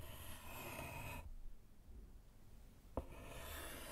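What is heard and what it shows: A small flat slate chalkboard in a wooden frame, lying on a table, is written on with pink chalk by a gloved hand. A broadband scratching rub runs for about a second, falls to near silence, then a single sharp tap sounds before the scratchy rubbing resumes.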